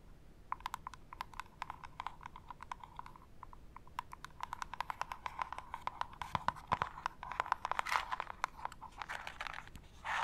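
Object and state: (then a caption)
Cardboard gift box tapped with nails. A small, hollow, printed cardboard jewelry gift box marked "hey happiness" is held in one hand and tapped and scratched with long acrylic nails. It makes rapid, crisp clicky taps with short scratchy bursts around the 8-second mark and at the end. A faint steady high tone runs underneath throughout.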